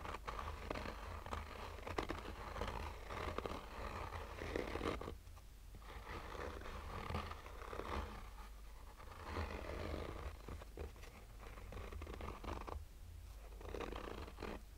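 Short fingernails slowly scratch a black oval sunglasses case covered in textured fabric, its hollow rigid shell held in the hand. Quiet, dry scratching comes in long passes with brief pauses, giving a soft, slightly hollow rasp over a steady low rumble.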